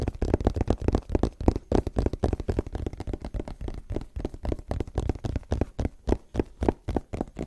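A small, white, rigid cardboard iPhone box is held in front of the mic and tapped and scratched with fingertips and short nails. It makes a quick, uneven run of dry, hollow taps with a low, thumpy body and no ring, mixed with soft scratching between them.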